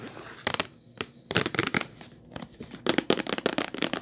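Long white nails tap the top and edge of a hollow purple Kleenex cardboard tissue box in quick, uneven bursts. Each tap is a dry, bright click with a papery crackle and almost no low end. The taps die away at once, with only faint hiss between the clusters.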